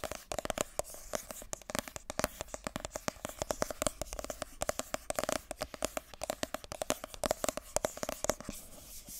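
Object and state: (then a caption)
Cardboard box tapped and scratched with nails. Long nails tap and scratch the top and sides of a small, hollow, white glossy cardboard iPhone box held in both hands. Rapid, dry taps with a hollow resonance around 605 Hz mix with bright scratching across the whole clip, each tap dying away almost instantly.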